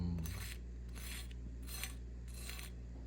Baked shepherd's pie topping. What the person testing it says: you can hear how crispy it is